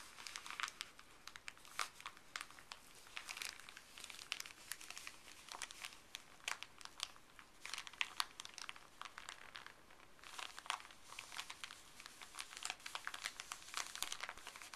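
Fuzzy fleece-gloved fingers fold, squeeze and crinkle a small, thin, flat folded white paper wrapper with blue Colgate print. The result is a steady, quiet stream of bright, dry crinkling with many sharp crackles and brief pauses, and almost no low end.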